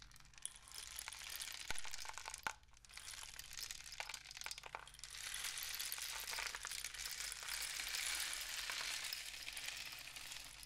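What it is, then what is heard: Cardboard rain stick. A painted cardboard rain stick tube with a black plastic end cap is tilted and tapped with the fingertips. It gives a quiet, steady bright rattling hiss of fine pattering grains, with scattered sharp clicks and a faint low hum beneath.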